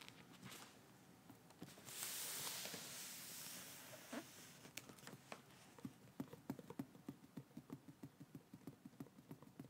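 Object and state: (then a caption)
Paper Bible pages tapped with nails. Long acrylic nails on both hands tap and patter on the thin paper pages of a large, thick hardcover Bible lying open on a table. A soft, bright papery rustle swells from about two to four seconds, then crisp, dry taps pick up into a quick, fairly steady patter of around twenty clicks that stop short with no ring.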